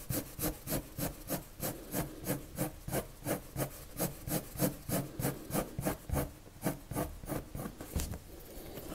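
A blue colored pencil draws repeated strokes across a sheet of flat white drawing paper, rubbing and scratching its surface. The strokes come as a steady, fairly regular back-and-forth rhythm of soft, scratchy rasps with a bright hiss on top. Near the end they give way to a lighter, more continuous scratching.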